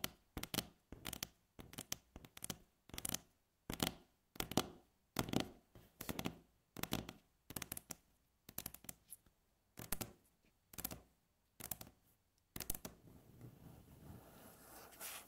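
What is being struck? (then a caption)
Wooden tabletop. Long natural fingernails on both hands tap a solid, flat, light-coloured wooden tabletop, giving quick bursts of crisp, bright clicks with almost no ring. The bursts come at an uneven pace with short silences between them. Near the end the tapping gives way to a steady, soft scratching rasp across the wood.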